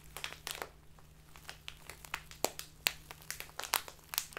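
A full plastic bag of loose tea with a green label is turned and squeezed in both hands with long painted nails. It gives rapid, irregular, bright crinkles with sharp, dry crackling peaks and no ring, over a faint steady low hum.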